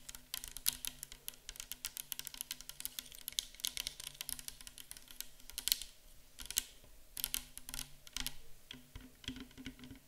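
A clear 500 ml plastic micellar water bottle, full of liquid and standing on a table, is tapped with long acrylic nails. The result is a rapid, dense stream of short, dry, bright clicks with very little ring, broken by brief pauses near the middle, over a faint steady low hum.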